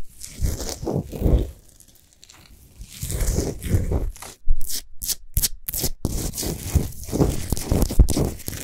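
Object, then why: Salt sphere lamp. Long fingernails on both hands scratch quickly over a large, solid Himalayan salt sphere lamp lit from inside. The result is dry, gritty scratching and rustling in uneven bursts, with a quieter stretch early on. Midway there is a run of sharp, bright, separated strokes before the steady scratching resumes.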